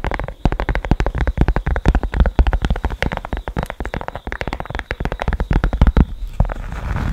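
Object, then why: Cork board. A rectangular cork board with a small yellow square on it is held against the microphone and scratched with long nails. The result is a dense run of rapid, dry scratches and taps with a heavy, boomy low end from the close pickup. A softer, hissier rustle trails off at the end.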